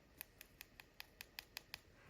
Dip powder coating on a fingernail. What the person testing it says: do you hear that Hollow sound that means you're ready for filing and buffing because your dip powder has hardened